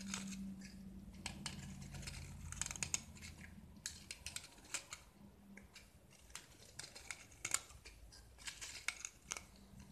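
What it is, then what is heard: Gypsum block being carved. A metal utility knife blade scrapes and carves a small, solid white gypsum block with orange-painted edges held in the hand, and plaster shavings fall away. Many short, bright, dry scrapes and crisp ticks come in quick bursts. A low steady hum sits underneath during the first few seconds.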